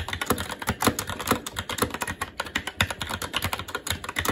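Fingertips of both hands type continuously on a SteelSeries Apex 7 TKL mechanical keyboard with red linear switches, plastic keycaps and a metal top plate. A steady, rapid stream of short, dry plastic clacks overlaps with a light low thump beneath each press and a bright click on top. Each keystroke dies away almost instantly.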